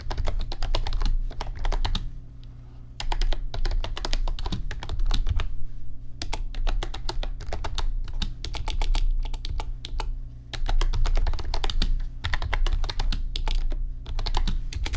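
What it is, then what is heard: Plastic computer keyboard. Fingertips of both hands type on an RGB backlit computer keyboard with plastic keys, making rapid bursts of bright, clicky keystrokes. Brief pauses break up the typing, and a steady low hum runs underneath throughout.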